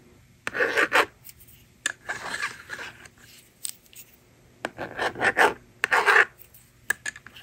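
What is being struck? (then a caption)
Plastic magnetic drawing board and stylus. A yellow plastic stylus scratches and writes across the honeycomb screen of a hand-held blue and pink plastic magnetic drawing board. Short bursts of dry, rasping scribble strokes come in clusters, separated by brief quiet pauses. The scratching has a bright, papery texture with almost no low end.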